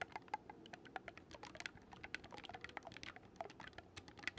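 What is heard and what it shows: Fingertips rapidly click the silver metal keys of a black wooden oboe held upright. The result is a quiet, dense patter of short, dry, bright clicks, much like fast typing on a keyboard.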